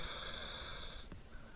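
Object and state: Nothing is struck.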